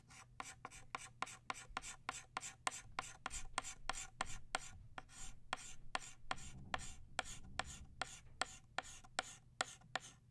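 An orange chalk stick rubs and scratches densely across a flat black chalkboard to fill in the center of a flower. About 28 short, sharp taps and scrapes repeat in a steady rhythm, each a brief bright click over a soft, continuous scratchy rasp with a faint low rumble underneath.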